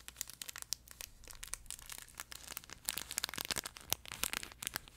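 Fingertips and nails scratch and squeeze a flat, yellow plush duck pet toy, its soft fabric stretched over a crinkle insert, close to the mic. The result is a quiet, dense stream of sharp, bright crinkles and scratchy crackles with almost no low end, each snap dying away instantly.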